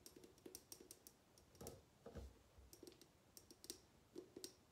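Long nails tap and click along a tall, clear, mostly empty glass bottle with a decorative top, held tilted in the hands. Around eighteen quiet, sharp clicks come in an uneven rhythm, each a bright tick over a faint mid tone that dies away almost at once. A couple of softer, duller knocks land near the middle.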